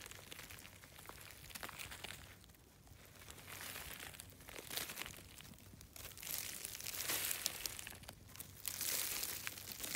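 A hand wearing a bead bracelet pushes into the loose, brittle flakes of a large, solid outcrop of layered grey shale, scratching and crumbling them with its fingertips. Dense, bright, dry crunching and crinkling comes in uneven waves and grows louder toward the end as small pieces break off and fall.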